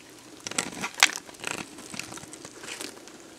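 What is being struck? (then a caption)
Bar of soap. A metal box-cutter blade scrapes flakes off a solid, dried, hand-sized beige bar of soap, and the flakes fall onto soap chips below. The scraping makes dry, bright, crinkly crunches in short bursts, loudest near the start, followed by softer rustling as the flakes settle.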